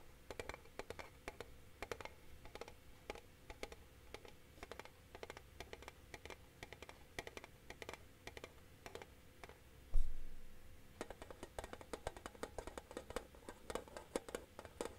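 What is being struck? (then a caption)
Flat metal tin case. A flat, rectangular, hollow, hand-sized silver metal tin is held in both hands and tapped with fingertips and nails, making a steady run of quick, light clicking taps. Around the middle, one louder, deeper knock stands out before the quick tapping continues.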